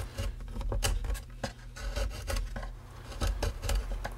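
A metal file or scraper rasps along a wooden tone bar brace on the light spruce top of an open, unbacked mandolin body, with the braces visible inside the rim. Repeated rubbing, rasping strokes sound over a steady low, bass-heavy hum.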